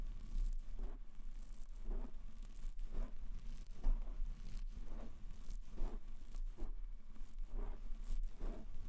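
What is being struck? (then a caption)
Foam microphone windscreen. Fingertips tap and rub a soft white foam windscreen fitted over a black metal microphone. The result is a steady run of soft, muffled thumps with crinkly, rustling scrapes between them, sitting almost entirely in a deep, boomy low range.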